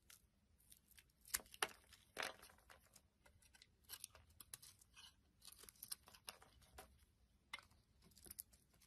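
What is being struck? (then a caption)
Solid bar soap cut with a metal blade. A metal blade carves a solid red and brown bar of soap, peeling off thick flakes. Quiet, irregular bright scraping and crisp cutting strokes come one after another, with a few sharper crunchy cuts standing out and almost no low end.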